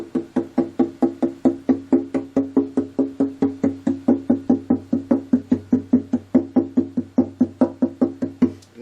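The back of a wooden acoustic guitar is tapped 42 times in a quick, steady series, starting at the top, to listen for loose or broken braces. Each tap is a short, resonant woody knock centred around 250 Hz that dies away quickly. The guitar sounds good, with no loose brace.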